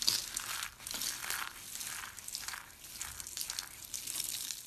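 Hands with long pink nails crush and crumble dry teal-green soap curls and shavings, small hollow-rolled solid pieces, between palms and fingers. A continuous bright, dry crinkling crunch with many quick crackles rises and falls in waves, with almost no low end.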